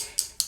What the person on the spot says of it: so you hear that clicking noise you want to be able to shake it